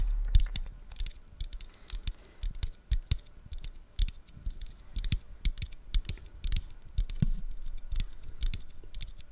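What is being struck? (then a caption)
Aluminium drink can. A standard-size orange aluminium can of pineapple Fanta is held in both hands close to the microphone and tapped quickly and repeatedly with the fingertips. The result is a steady patter of short, dull, low taps with faint bright clicks on top and almost no ring after each one.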